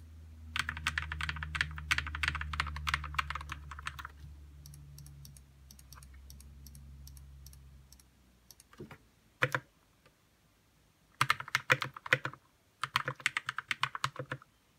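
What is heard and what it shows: Fingertips type on a white RK61 60% mechanical keyboard with plastic keycaps, lubed red switches and a hollow plastic case, producing quick, short, bright clacks centred near 2 kHz over a steady low hum. A fast run of keystrokes fades into softer scattered taps and a near pause broken by a couple of single presses. Two more rapid bursts of typing close the clip.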